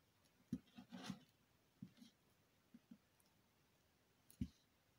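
Fingers with long green nails hold a solid square teal bar of soap on a green table while a thin needle tool drags across it, scoring grooves into the surface. Quiet, soft scratching strokes come in short separate bursts, each with a dull low thud and a faint bright scrape that stops almost at once.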